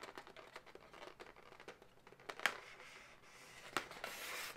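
Long nails scratch and tap an inflated, hollow light pink latex balloon dog. Quick squeaky, crinkling scratches run throughout, broken by a few sharper, bright taps that die away almost instantly.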